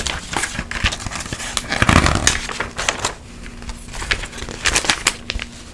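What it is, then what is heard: Glossy paper magazine pages. A glossy paper magazine is held open while its pages are flipped quickly by hand with long yellow nails. It makes crisp, bright crinkling and rustling page turns, with a louder flurry in the middle and a faint steady low hum underneath.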